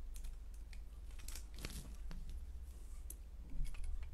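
A solid orange striped soap bar is held in the hand and carved with a blade into curls. Soft, crisp scraping and short bright ticks repeat over a steady low hum, with a slightly louder cut near the end.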